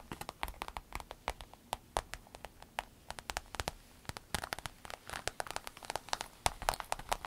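Long nails scratch the shiny panel of a soft, hollow rainbow holographic vinyl fanny pack while fingers press and crinkle the vinyl. The result is a quick, uneven stream of dozens of sharp, bright ticks and scrapes that die away almost instantly, with soft crinkling between them.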